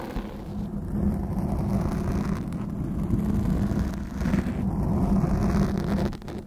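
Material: Foam.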